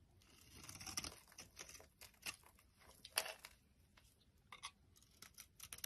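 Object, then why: Soap bar cut with a blade. A solid orange Fa soap bar, held in the hand, is carved into shavings with a box-cutter blade. Quiet, crisp scraping and crunchy slicing strokes come in irregular bursts, bright and hissy with little low end.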